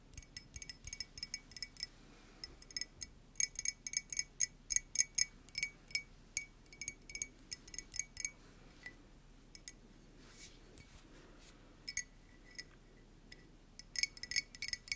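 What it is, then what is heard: Ceramic mug. A hollow yellow printed ceramic coffee mug, contents not visible, is tapped with long nails close to the microphone. The clip is a dense run of sharp, bright clicks and ticks, with clusters of rapid taps separated by brief pauses and a faint high ringing tone around 2 kHz.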